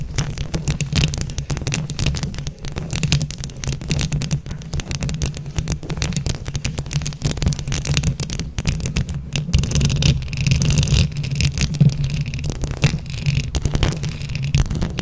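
Long nails scratch across a microphone grille covered in plastic flower rhinestones, producing dense, continuous crackling scrapes over a heavy, throbbing low rumble. The rough scratching holds steady throughout, growing slightly louder and brighter in the second half.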